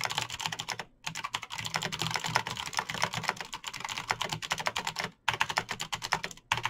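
Fingertips type fast on a Razer BlackWidow backlit plastic mechanical keyboard with clicky green switches, producing a dense stream of sharp, bright key taps and clicks. Brief pauses break the typing near 1 second, just after 5 seconds, and again near the end.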